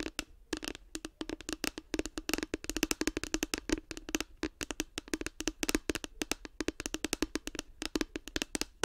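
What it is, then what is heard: Hollow hard plastic case. Long nails tap rapidly and steadily on a light blue, hollow, hard plastic case with a cartoon face, held close to the microphone. Each tap is a short, dry click with a hollow tone around 312 Hz and a bright edge, dying away almost instantly, forming a dense, uneven patter.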